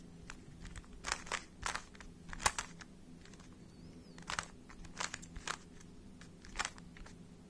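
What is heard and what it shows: A small, hollow plastic 3x3 Rubik's speed cube is held in both hands while fingertips twist its layers. It produces short, dry, crunchy clicks in uneven bursts, with a quieter pause in the middle, over a faint steady low hum.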